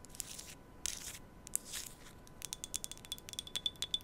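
An empty, hollow, small white-patterned glass tea cup, held in both hands close to the microphone, is scratched and tapped with long nails. Bright scratchy rasps in the first half give way to a quick, irregular run of sharp, dry clicks with a faint high ring, all quiet and close.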